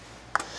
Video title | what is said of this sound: Making dill pickles! Canning pickles #593 | you can hear these popping right now